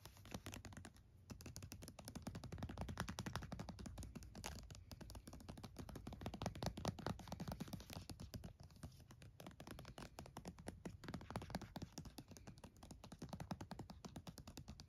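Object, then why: Plastic lotion tube. Fingernails tap quickly on a filled red plastic body cream tube with a cap, about 20 cm long, held on a towel. The result is a steady stream of soft, dull, low-pitched clicks and thunks with almost no ring. It continues for about 15 seconds, with a brief lull near the start.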